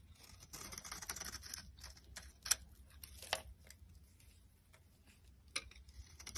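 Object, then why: Bar of soap. A box cutter blade carves layered flakes off a solid yellow bar of soap held in the hand. Quiet, bright, crisp scraping strokes come in irregular bursts, with a few sharper cracks standing out over a faint low hum.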